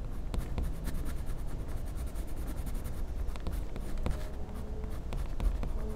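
A blue wax crayon is rubbed in small circular strokes on a flat, solid white paper sheet in a sketchbook to fill in colour, while the other hand steadies the paper. A soft, continuous scratchy rubbing runs steadily throughout, with faint brief ticks over a low, muffled base.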